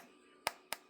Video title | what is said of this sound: JustFab Unboxing & More Baking - Vlogmas Day 3 | it's kind of hollow on the inside, and this one is crispy on the outside